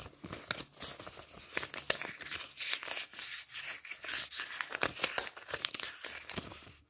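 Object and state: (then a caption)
Polymer banknotes. A folded stack of polymer banknotes is held in both hands and flexed and crinkled with the fingertips and nails. It makes a steady, bright crinkling and crackling with many sharp, dry snaps that stop almost instantly, with almost no low end.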